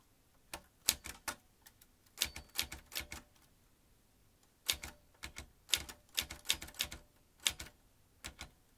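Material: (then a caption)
Metal. An old manual typewriter with metal typebars, round metal-rimmed keys and a ribbon spool is typed with the fingertips of both hands, each key driving a typebar into the mechanism. It produces short, sharp, bright metallic clacks in quick irregular bursts, with a brief pause in the middle. Each strike stops almost at once.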